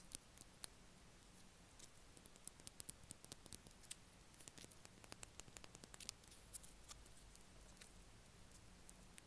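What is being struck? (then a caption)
Small cardboard gum pack. A small blue Extra chewing gum pack, a small paper or cardboard box, is held in the fingers and tapped and scratched with the fingernails. Quiet, dry, bright clicks and scratchy ticks come in irregular clusters, each dying away almost instantly, over a low, steady background hum.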